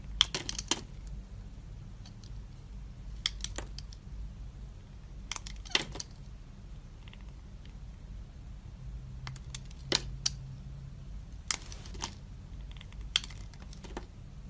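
A utility knife blade is drawn across the surface of a solid, translucent green, hand-sized glycerin soap bar held in the hand, scraping off thin shavings. Sharp, bright, short scraping clicks come in scattered bursts over a low steady hum, with no talking.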